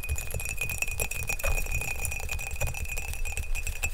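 Fingernails tap fast on the outside of an empty, hollow glazed ceramic mug, blue outside and green inside, held close to the mic. The quick, dense clicks carry a steady bright ring near 2.5 kHz over a low thump.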